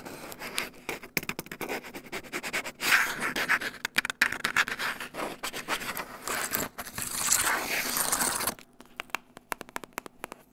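Fingertips and nails scratch and tap across the keys and palm rest of a grey plastic laptop keyboard. Dry, bright scraping and crackly scratching are dotted with sharp clicky taps, with louder sustained scrapes around the third second and again from about seven to eight and a half seconds. The sound then drops to quiet, scattered taps.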